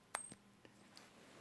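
A copper-nickel 50-cent coin is given a ping test, producing four short, bright metallic pings with a high ringing tone that fades quickly. The larger coin gives a deeper ring than smaller coins.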